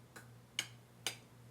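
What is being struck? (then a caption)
Small speaker with a heavy steel magnet. A small speaker with a heavy magnet is thumped three times, each a short, clicky tap that dies away almost at once. It gives no ring, because its resonant frequency sits below the range of human hearing, unlike an empty can.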